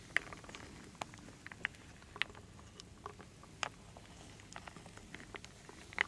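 A large wooden bowl full of small solid wooden beads, acorns and leaf shapes is stirred and scooped with a wooden spoon held in a hand with long dark nails. Quiet, steady rattling and pattering carry sharp, bright wooden clicks at irregular moments, each dying away almost at once.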